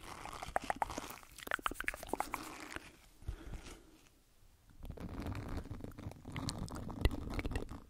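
An oval green silicone scrub pad with a loop is bent while its bristles are scratched with the fingertips close to the microphone. Quick, crackly scratches and soft taps fill the first seconds, then fade to near silence around the middle. A low, rumbling rubbing follows, with one sharper tap near the end.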